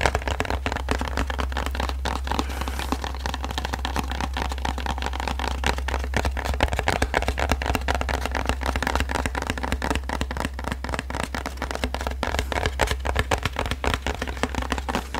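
Fingertips and nails tap and scratch the surface of a flat, hollow printed cardboard box held in both hands close to the mic. A dense, continuous stream of quick, dry taps and papery scratches rides over a steady low hum for the whole clip.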